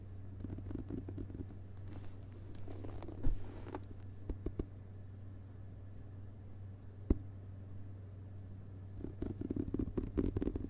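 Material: Paper, board.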